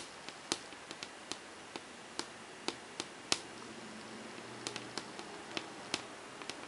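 Long painted fingernails tap quickly on the blank, smooth, glossy surface of a large wall-mounted melamine whiteboard while the hand stays in place. About 19 sharp, bright clicks are heard at uneven intervals, each dying away almost instantly over a quiet background hiss.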